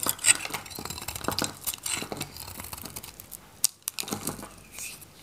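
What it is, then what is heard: Dry varnished bar soap being shaved. A metal craft knife shaves curls from a dry, solid oval pink Godrej No.1 bar soap with a red varnished coating, held in the palm. Quick, crisp scraping and crackling strokes come in a bright, dense stream, with a brief near-silence just before the final few cuts.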